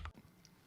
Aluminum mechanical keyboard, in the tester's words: there's some pinginess to it there is it sounds hollow